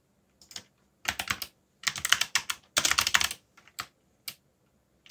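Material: Plastic.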